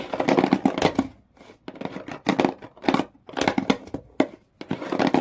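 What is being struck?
Cardboard shoe box.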